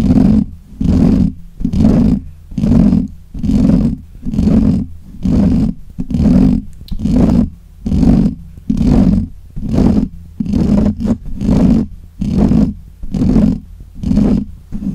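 Fingernails of both hands scratch the black, hollow metal mesh grille of a desk microphone in steady, repeated strokes, roughly one burst per second. Each burst comes through as a muffled, boomy rumble heavy in the lows, with a growl-like roughness and little brightness, separated by short near-silent gaps.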